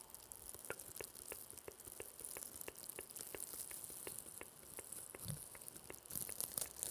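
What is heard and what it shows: Two small hollow blue plastic mesh velcro hair rollers are held close to the microphone, scratched with long yellow fingernails, and rubbed with fingers. The result is a quiet, steady run of sharp, regularly spaced clicks over a bright, hissy scratching texture. The scratching grows louder and more rustling near the end.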